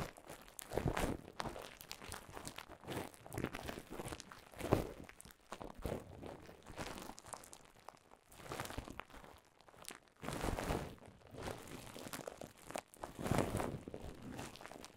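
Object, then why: Plastic bubble wrap. Clear plastic bubble wrap laid over a microphone is crinkled and squeezed with fingers and nails. Soft, close crunching and crinkling comes in repeated waves, with bursts swelling and fading throughout, weighted toward low, muffled tones with little high brightness.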